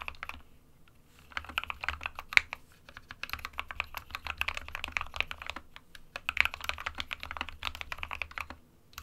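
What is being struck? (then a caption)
Plastic mechanical keyboard. Both hands type rapidly with fingertips on an SK61 small 60% mechanical keyboard with a white plastic case and plastic keycaps, resting on a printed desk mat. Quick bursts of bright, short, dry key taps come in runs with brief pauses near the start, middle and end, over a faint low hum.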